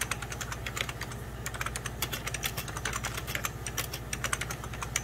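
Fingertips and short nails type rapidly on a full-size 90s Packard Bell keyboard, its beige plastic keys set over a hollow plastic case. A quick, uneven stream of short, bright plastic clicks and taps dies away almost instantly over a steady low hum.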